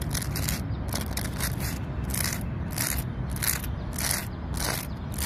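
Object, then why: Tree trunk bark. Long nails scratch and rub the rough, speckled bark of a large solid tree trunk. Repeated bright, hissing scrapes come in quick strokes over a steady low rumble.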